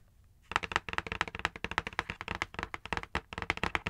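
Long acrylic nails tap and drum on the flat front face of a dark printed cardboard box for a knife and cutting mat set, held upright. After a quiet half-second, about 23 quick, dry, clicky taps follow in an uneven rhythm. Each tap is bright with almost no ring.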